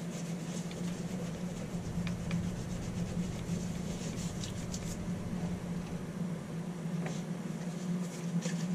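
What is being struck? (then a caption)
Leather shoe. A gloved hand rubs and buffs the upper of a black leather Docs brogue with a blue sole, mounted on a shoe-shine stand above its matching shoe, using a brush or cloth. Soft, continuous rubbing and swishing sits over a steady low hum, with a few faint, bright ticks scattered throughout.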